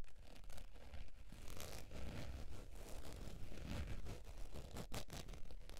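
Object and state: Faux leather wallet being scratched.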